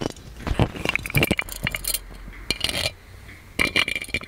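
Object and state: Metal genie lamp.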